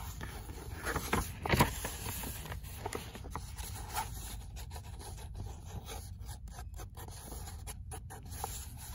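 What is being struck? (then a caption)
Paperback book paper pages. Long nails scratch and tap the printed paper pages of an open paperback book. Soft, dry rubbing and scraping continue throughout, broken by light papery taps, with a louder cluster of taps early on before the scratching settles back to a quiet, steady level.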